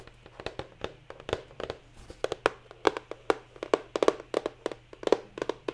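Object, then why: Cardboard box. A medium-size, hollow printed cardboard retail box holding LED lights is held in the hand and tapped with long nails, giving 26 quick, dry, hollow taps in an uneven rhythm with a mid-range knock around 430 Hz and almost no ring. Rain is heard softly in the background.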